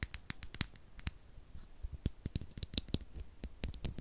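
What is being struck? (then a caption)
9V battery, metal casing. A single small rectangular Duracell 9V battery with a metal casing and snap terminals is held in the fingers while fingernails tap and scratch its casing and terminals. About nineteen quick, dry clicks sound with bright high edges and a soft low thump, each dying away almost instantly, with faint scratching between them.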